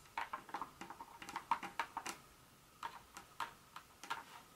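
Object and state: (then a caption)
Dark chocolate pieces tapped with nails. Long nails tap and scratch on and among small, solid pieces of a broken dark chocolate bar scattered on a countertop. The result is a quick, irregular run of short, dry clicks, with a pitch around 900 Hz and bright edges. A dense flurry comes in the first two seconds, then a pause and sparser taps.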